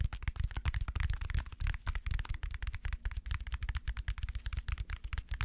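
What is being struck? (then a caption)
Book. A weird book is tapped rapidly with the fingers as a tapping trigger. The taps land as a fast, steady stream of soft, low thumps, each with a faint bright click on top, and every tap dies away almost instantly.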